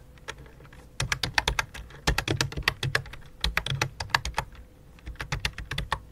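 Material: Plastic.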